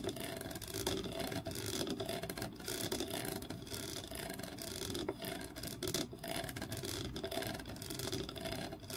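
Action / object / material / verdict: scrape / grooved wooden block / wood / none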